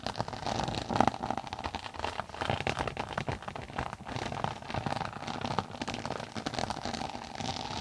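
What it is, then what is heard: Textured tablet case, tapped and scratched. Long acrylic nails tap and scratch the top of a closed, flat, rectangular tablet-size case, a textured floral-print synthetic cover over a stiff board, held flat above a binaural mic. Quick, dense taps blend with a continuous crackly, rain-like scratching, with a mid tone near 790 Hz. Each tap is dry and stops almost instantly, and one louder tap lands around the one-second mark.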